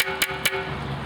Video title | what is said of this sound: Selecting Quality Pottery | it has a metallic ping to it, it means it's very quality high temperature fired pottery